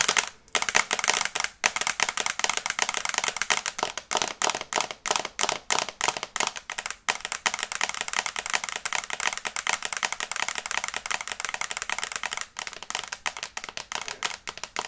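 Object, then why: Smartphone glass screen. Long red nails tap rapidly on the glass screen of a small flat smartphone or small tablet in a teal and brown case, held upright in both hands. The result is a dense, fast stream of sharp, bright clicking taps with almost no low end, each click dying away almost instantly, broken by a few brief pauses.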